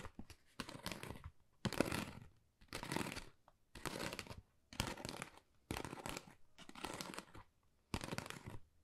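Fingernails tap rapidly on a flat pink textured cardboard Dior gift envelope, producing dry, crinkly, papery clicks. The tapping comes in about eight short bursts separated by brief pauses, with a broad texture that reaches into bright highs.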